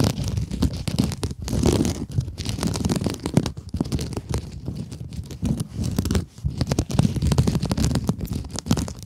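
Long acrylic nails scratch the textured surface of a palm-sized, flat rectangular pink kitchen scrub sponge with a sparkly woven synthetic mesh cover and a soft foam core, held upright in both hands. The result is a dense run of rapid, crackly scratching and crinkling strokes with a heavy low rumble, continuing with only brief dips in loudness.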